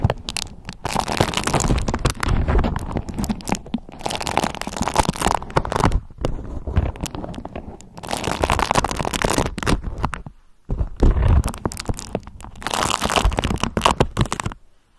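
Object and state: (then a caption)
Beeswax-coated cotton food wrap. A yellow beeswax-coated cotton food wrap is bunched in both hands, crinkled and scratched with long nails. Dense bursts of crisp crinkling and scratching come in waves with brief pauses, including a short near-silent gap near the end, over a low rumbling undertone.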